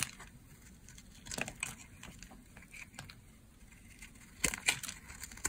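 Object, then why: Bar of soap cut with a blade. A solid, hand-sized green bar of dry soap is held in the hand and shaved with a box-cutter blade, its curls falling onto a pile of soap bars. Bright, crunchy scraping and carving sounds run throughout, with sharper, louder cuts near 1.4 seconds and again around 4.5 to 4.8 seconds.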